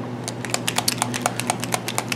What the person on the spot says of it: You hear that little clicking when I shake my canister? Well, that's, you know, sinkers that you'd use for fishing.